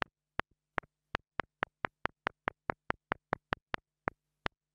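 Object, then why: Plastic mini lavalier microphone. A small black plastic mini lavalier microphone is tapped up close with the side of a wooden stick, giving 18 quick, sharp, dry taps at a loose, uneven pace, each one with a faint softer after-tap. A steady low hum sits faintly underneath throughout, and the overall level is quiet.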